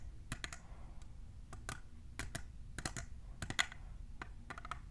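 Long nails fitted with plastic clips tap on a tall, hollow, clear printed plastic tumbler cup. The taps are quick, irregular, and sharp, with a bright click around 2 kHz that dies away almost instantly. A soft low rumble sits underneath.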